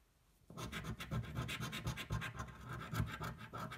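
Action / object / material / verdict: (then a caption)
scrape / cardboard scratch-off ticket and metal coin / cardboard / none. A cardboard scratch-off lottery ticket, a thin flat card held flat on a table, is scratched with the edge of a metal coin. After a brief quiet start, rapid back-and-forth scraping strokes follow in a steady, slightly uneven rhythm, each a dry, gritty rasp with a low rumble and brighter crackle on top.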